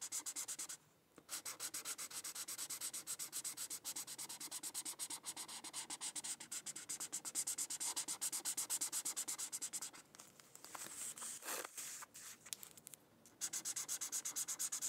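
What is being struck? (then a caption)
Felt-tip marker on thin paper. A red felt-tip marker colors on a thin white paper coloring sheet, making fast, steady rubbing and scratching strokes with a bright, hissy texture. There are brief pauses near the start and again around the 10–13 second mark before the rapid strokes resume.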